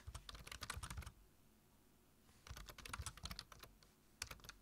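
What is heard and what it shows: Fingertips tap the keys of a black plastic low-profile computer keyboard while typing, making quick, bright clicks over a low thud. A fast burst of keystrokes is followed by a pause of about a second, then a second burst and a few final taps near the end.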